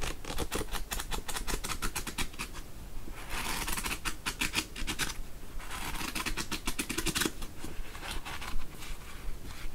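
A thick paperback novel, The Beach, is held open while long nails tap its cover with quick, dry clicks. Then the paper pages are fanned and riffled in bright, rustling bursts over a low background rumble.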